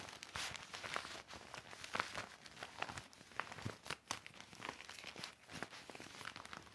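A large, deflated, hollow silver and clear vinyl inflatable mat with orange, green, blue, pink and yellow stripes lies flat on carpet. It is wiped with a cloth and pressed and rubbed by hand. The plastic gives a steady run of bright, dry crinkles and crackles with many short, sharp bursts.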